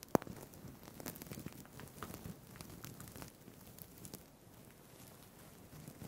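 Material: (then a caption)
Plastic. Fingertips scratch and flip the plastic sequins on a green sequined fabric tie held above a microphone. The result is a quiet, dense patter of tiny crackly clicks over a soft rustle, with one sharp click near the start. The scratching thins out and grows quieter after about four seconds.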